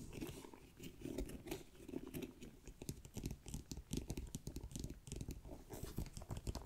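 Long nails scratch along the brown-edged faux leather top handle of a black pebbled backpack, which has a metal ring. The result is a close, quiet run of dry, rapid scratching and crinkling bursts, with a soft, low-heavy body and brief bright ticks.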